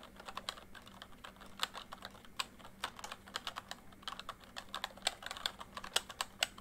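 Fingertips type on a full-size plastic MSI backlit membrane keyboard. A steady run of quick, bright taps fades almost at once, some louder than others, over a faint low hum.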